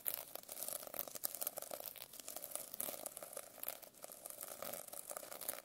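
A metal pen tip rapidly scratches across the plastic sequin cover of a notebook. The result is a dense, continuous crackly rasp with bright, sharp clicks and almost no low end.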